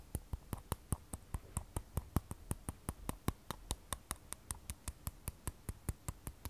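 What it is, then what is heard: Glass and steel smartphone. Long nails tap the matte glass back and stainless steel edge of an iPhone 12 Pro held flat and sideways. About thirty-three short, dry taps come at a quick, slightly uneven pace, each a crisp click with a soft low thud that stops almost instantly.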